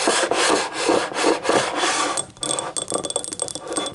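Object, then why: Small ribbed ceramic cup. Long fingernails on both hands scratch and rub the ribbed outer wall of a small, hollow, empty yellow ceramic cup standing upright. Rhythmic, raspy strokes fill the first half. The scraping then turns lighter and quicker, with faint high, bright ringing tones from the cup.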